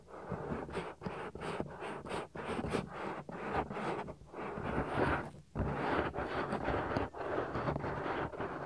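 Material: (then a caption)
Silicone. Fingers pinch and rub the flap of a soft, solid silicone ear on a 3Dio binaural microphone. The result is close, muffled rubbing and scratching in repeated strokes, mostly in the low-mid range with little high content.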